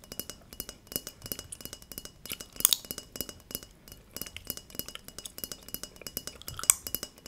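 A large, thin gold-colored brass plate with a hammered texture and a raised center is held upright and tapped with long red nails and fingertips. Around forty quick, bright metallic clinks and ticks are heard, each dying away almost at once, with two sharper, louder clinks near 2.6 and 6.7 seconds.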